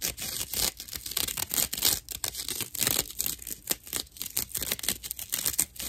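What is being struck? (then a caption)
Natural loofah sponge pad. Long nails scratch a dry natural loofah pad with a cord attached. The result is a rapid series of rough, bright, crackly scratching strokes with little low end.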